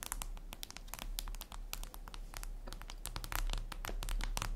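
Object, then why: Glass tablet screen. Long red acrylic nails on both hands tap rapidly across a flat, glossy, solid black glass surface, likely a tablet screen. The result is a dense stream of sharp, bright clicks over a steady low hum, growing slightly louder toward the end.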